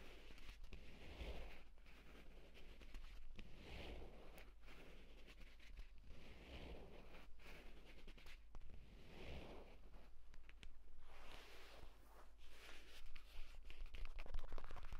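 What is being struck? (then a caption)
Leather tablet folio case. A purple leather tablet folio case lies flat while both hands' nails scratch its cover and fingertips tap on it. Quick, irregular tapping and scratchy rustling continue throughout, over a steady low hum, growing slightly louder toward the end.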